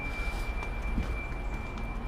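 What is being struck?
Nothing is struck.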